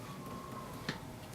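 A single tap on the bottom of a leather-hard, unfired clay teapot being trimmed on the potter's wheel gives a short, dull, low thud over a quiet background hum. The dull sound means the base is still thick; it should sound more hollow as the wall is trimmed thinner.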